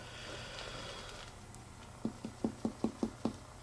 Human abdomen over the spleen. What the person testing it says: it was still tympanic. That is because he does not have a splenic enlargement